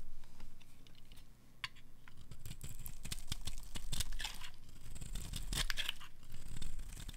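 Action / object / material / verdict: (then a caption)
scrape / bar of soap shaved with a blade / soap / none. A solid oval blue bar of dry Fa soap, held in the palm, is shaved with a metal utility knife blade, scraping off crumbly flakes. Dry, gritty scrapes and crunchy crackles come in quick, uneven strokes with bright high edges, over a steady low hum.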